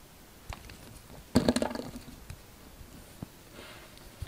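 A utility knife blade shaves thin slices off a solid yellow soap bar held in hand. Faint ticks and scrapes lead into a short burst of crisp, crackly shaving, then a few soft taps and a light rustle in a quiet setting.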